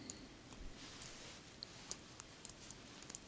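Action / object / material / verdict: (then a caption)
tap / small metal brooch set with rhinestones / metal / none. A long fingernail taps and clicks on a small, solid round metal brooch set with clear rhinestones, lying on brown fabric. Quiet, bright, sharp clicks with almost no ring are scattered over a soft, steady hiss, several of them standing out clearly.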